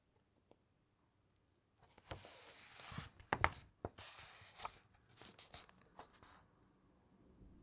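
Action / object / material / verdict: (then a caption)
scrape / thick uncoated paper pages of a large book / paper / none. A large open encyclopedia with thick uncoated paper pages is rubbed by long nails across the printed page, and its pages are turned. After about two seconds of near silence, dry papery rustles and crisp crackles come in, with sharper snaps of the pages near the middle. The sound then settles into softer scratching and shuffling.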